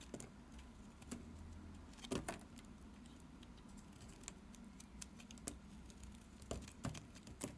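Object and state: Bar soap being shaved.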